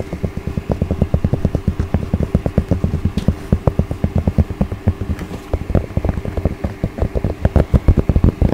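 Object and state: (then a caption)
Cotton baseball cap, scratched. Fingertips and long nails scratch and rub the crown of a soft, hollow, dark grey cotton baseball cap with red embroidered text. The result is a steady run of dozens of quick, dry scratches. Each one is short and muffled, heavy in low frequencies, with a faint hiss over the top.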